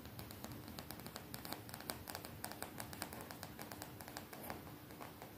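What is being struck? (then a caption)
Printed cotton t-shirt worn on the body. Fingertips with long nails tap and lightly scratch a colorful graphic-print cotton t-shirt worn on the body, which is soft and not hollow. A quiet, rapid series of short, dry taps with crisp clicking tops sits over a faint low, steady rumble, each tap dying away almost at once.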